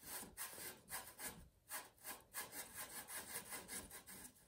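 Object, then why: Chalk cube on a leather cue tip. A small square cube of blue billiard chalk, held between fingertips, is rubbed and twisted against the leather tip of a light-green cue over green felt. Repeated dry, scratchy rubbing strokes come in uneven bursts, with a bright, hissy texture.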